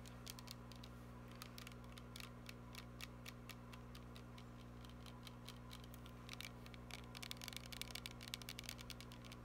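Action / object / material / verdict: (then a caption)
tap / plastic body mist spray bottle / plastic / none. A glittery plastic body mist spray bottle, held upright in both hands, is tapped rapidly with long nails. Short, bright clicks peaking around 3.8 kHz come in quick, uneven bursts over a steady low hum, growing denser toward the end.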